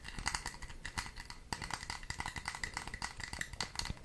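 Long red nails scratch and tap rapidly over the ridged, raised braided pattern of a small red plastic case as the hands turn it close to the microphone. The result is a dense stream of crisp, dry clicks and scrapes with a bright, ticking edge, and each sound cuts off almost instantly.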